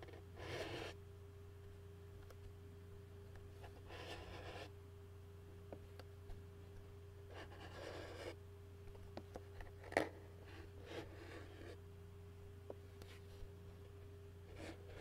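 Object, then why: Plastic takeout bowl bottom. A fingernail scratches and a fingertip taps on the bottom of a white plastic takeout bowl. Soft, bright scratching bursts alternate with short, sharp taps, over a quiet, steady low hum.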